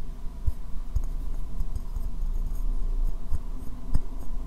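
A medium white ceramic bowl, hollow and empty, turned upside down as a dome over the microphone, is tapped with fingernails and fingertips. The taps come through as soft, dull, low thumps with very little ring, all muffled under the bowl. No high brightness comes through.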